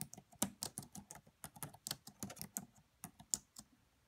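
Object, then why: Plastic laptop keyboard. Long manicured nails and fingertips of both hands type on the black plastic chiclet keys of a red laptop with a hollow body. About 17 quiet, bright, clicky taps come in an uneven rhythm, each dying away almost at once.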